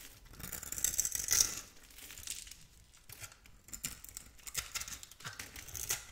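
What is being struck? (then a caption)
Bar of soap cut with a metal blade. A metal blade scores a grid into a solid, palm-sized oval bar of blue soap held in the hand and scrapes off small cubes. The result is a series of dry, bright scraping and crackling sounds, with a louder burst near the start followed by quieter scratchy strokes.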